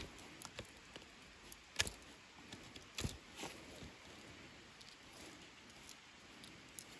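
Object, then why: Wooden stick scraped with a knife blade. A pocket knife blade scrapes and whittles the knots on a long, solid, smooth debarked wooden branch used as a walking stick. Quiet, irregular crisp scrapes and short clicks run throughout, with a couple of sharper, louder cuts standing out early on.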